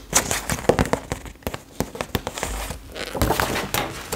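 Long acrylic nails tap and scratch the colour pages of an open retro paper fashion magazine held close while it is handled. Sharp, dry clicks come in an irregular series over a papery crinkling rustle, with brighter scratchy swipes between the taps.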